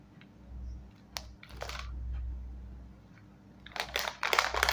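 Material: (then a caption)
Metallized plastic. A small, full, sealed foil-lined metallized plastic snack bag of Scene On Krunch Red Chili Dhamaka chips is turned and crinkled between the fingertips of both hands. Sharp, bright crinkles come in scattered bursts over a low, steady hum, growing louder and denser toward the end.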